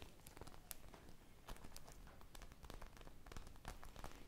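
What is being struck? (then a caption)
Polyurethane foam squishy popsicle. A solid polyurethane foam squishy shaped like a teal-glazed ice-cream popsicle with colorful sprinkles is held up close, then scratched and tapped with long mauve nails and fingertips and squeezed. The result is quiet, dense, crackly rustling with scattered sharp, bright taps over a soft low rumble.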